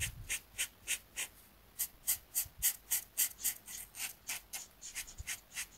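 A marker tip held in the fingers rubs and strokes across a flat, thin, solid paper coloring sheet resting on a desk mat while coloring a zigzag area. About twenty quick, bright, hissy scratching strokes follow one another at a steady back-and-forth pace of roughly three to four per second. The strokes are quiet and dry, with almost no low end and no ring between them.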